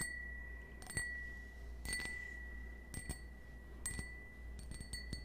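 A small, hollow, empty cut-crystal stemmed wine glass held in the hand is tapped with fingernails. Each tap gives a sharp click and a clear ring near 1.9 kHz with bright overtones that fades in under half a second. A low steady hum sits beneath the taps.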